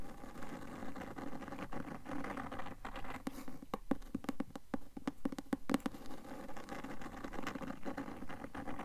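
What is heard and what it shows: Long nails rapidly tap and scratch the cloth front cover of a closed, solid, medium-size blue cloth-covered hardcover book held upright. Soft, low, muffled scratching fills the start and end, with a quick run of sharp, dry taps in the middle that die away almost instantly.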